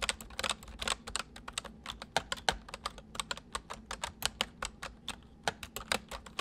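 Both hands type quickly with their fingertips on a full-size white plastic mechanical keyboard with white keycaps, resting on a wooden desk. A rapid, uneven stream of sharp, bright clicks and clacks is heard, each keystroke dying away almost instantly over a faint low hum.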